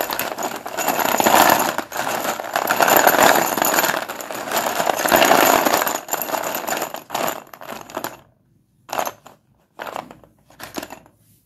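Hands stir and drop a pile of solid, dustless pure white Sundeep chalk sticks in a blue plastic bowl, so the sticks clack together in a dense, continuous clatter of mid-pitched, bright clicks for about eight seconds. The sound then breaks into a few short, separate bursts of clacking with silence between them as the hands withdraw.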